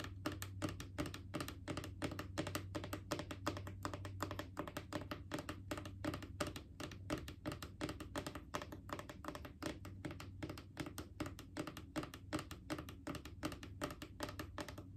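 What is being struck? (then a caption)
Plastic wipes canister. Long painted fingernails tap rapidly on a Clorox disinfecting wipes canister, a hollow cylindrical plastic container held against the body. The result is a quick, uneven stream of soft, hollow clicks with short rings over a steady low hum.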